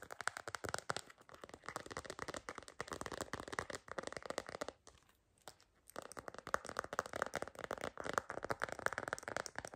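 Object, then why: Plastic phone case with stickers. Long green nails tap and scratch quickly across a cream plastic phone case with bunny and sticker decorations, fitted on a phone. The result is a dense run of light, crisp plastic clicks and scrapes centered in the mids, with brief near-silence around the five-second mark before the tapping resumes just as busily.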